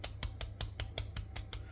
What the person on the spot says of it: Ça croustille. Sur le dessus, vous entendez ce petit bruit là?